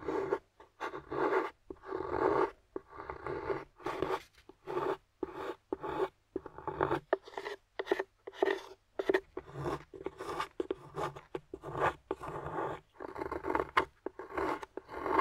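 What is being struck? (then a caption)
Dark chocolate bar. A small metal carving tool with a wooden handle, held by a hand with long nails, scrapes shavings off a flat, solid dark chocolate bar lying on a white surface. A steady run of short, dry scraping strokes follows, separated by brief silences, with a rasping mid-range tone centred around 390 Hz and little low rumble. Each stroke stops cleanly with almost no ring.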